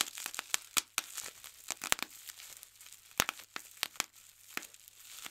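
A large sheet of clear plastic bubble wrap with air-filled bubbles is pinched by fingertips, popping individual bubbles. Sharp, bright pops snap out over a soft, continuous crinkling of the sheet, each one dying away almost instantly.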